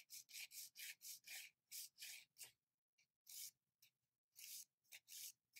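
The sides of long, almond-shaped, gel-covered fingernails are filed with a grey and green abrasive nail file in repeated rubbing strokes. About sixteen short, bright, hissy scraping strokes come in an uneven rhythm with brief pauses between them. The sound is quiet, with almost nothing in the low end.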